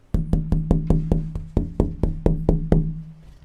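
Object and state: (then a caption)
Tap tone of a wooden guitar back. A wooden guitar back is tapped 13 times in a steady rhythm to show its tap tone. Each knock sounds like a resonant wood block with a low tone near 160 Hz that rings briefly and then fades.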